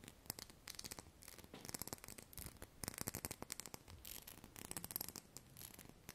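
Long painted nails rapidly tap and scratch the faceted surface of a small hollow glass perfume bottle with pale liquid inside, held in both hands close to the microphone. The result is a quiet, dense stream of crisp, bright clicks and scratchy rubbing that stops almost instantly after each touch.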